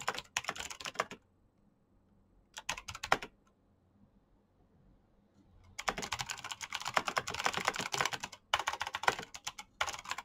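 Fingertips with short painted nails type fast on a black plastic mechanical keyboard with clicky switches. Bright, sharp clicks come in quick bursts, with short quiet pauses between them, then a longer run of steady typing.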